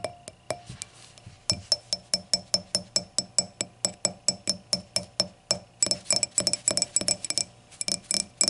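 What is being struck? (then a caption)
Glass hurricane glass. Long nails tap and scratch the solid glass foot and stem joint of an empty, clear hurricane glass lying on its side. A steady run of short, bright glassy clinks rings out with a high tone and dies away almost instantly. The taps speed up into dense clustered bursts near the end.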